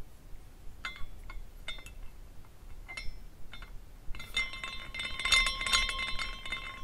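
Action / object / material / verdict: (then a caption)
shake / small glass carousel figurine with hanging glass pendants / glass / none. Fingers spin the top spindle of a small glass carousel figurine, making its glass pendants clink. Sparse, bright, short clinks come first, ringing near 2 kHz over a low background hiss. After about four seconds the spin picks up into a dense, shimmering run of overlapping glass tinkles that lasts to the end.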